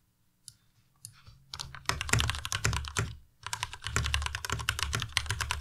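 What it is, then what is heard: Plastic mechanical keyboard. Fingertips type on a white Ducky Miya Pro tenkeyless mechanical keyboard with plastic keycaps. A few isolated key clicks give way to rapid, steady typing, with a brief pause midway before the typing resumes. Each keystroke is a short, bright clack over a deeper low thud.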